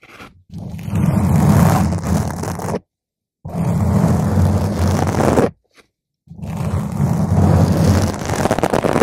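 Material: Foam.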